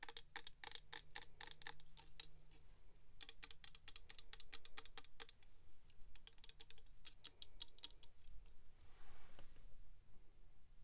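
Long pink acrylic nails tap rapidly on a small clear hard-plastic box filled with glitter, held in the hands. The sharp, bright clicks come in quick runs with short pauses over a low, steady hum, and a soft brushing, scratchy sound swells near the end.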